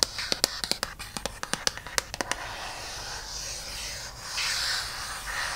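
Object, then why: Aluminum back of a tablet. An iPad lies face down on a towel with its flat, thin aluminum back up, as fingertips and long painted nails tap and scratch the metal. A fast run of about fifteen sharp, bright clicks fills the first two and a half seconds. A soft, hissy scratching follows and swells toward the end.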